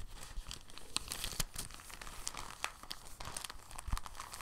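A clear, thin, soft plastic bag is unfolded and then rolled between the fingertips, giving a steady stream of quiet, dense crinkling. Sharp, bright crackles and snaps stand out over a soft rustling bed, with no ring after each crackle.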